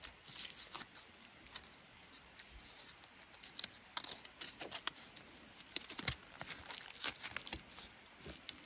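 Fingers and a thumbnail scratch, rub and tear crunchy pieces of dry, flaky bark off a solid natural wooden branch used as a walking stick. The result is a quiet run of short, bright crackling scrapes and sharp snapping tears with almost no low end.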